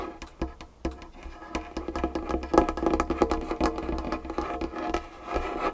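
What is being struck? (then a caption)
Wooden tabletop. Long painted fingernails tap and scratch across a large, solid, dark wood tabletop. Quick, irregular clicks come in rapid bursts, each with a short, dry knock centered in the low-mid range. Soft scratching and a faint low hum fill the gaps between them.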